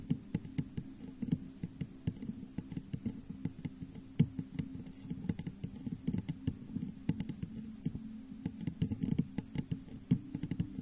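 Long nails tap the sides of a hollow, textured clear glass vase turned upside down over a microphone. The result is a quick, irregular patter of soft, short clicks, mostly low and muffled with faint bright ticks and a steady low hum beneath.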